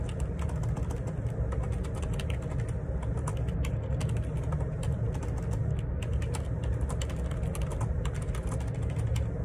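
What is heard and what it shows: Fingertips type a steady run of key taps on the plastic keycaps of a black Perixx Periboard 612 wireless Bluetooth split ergonomic keyboard resting on a grey table. Quick, light clicks run through the whole clip over a constant low hum.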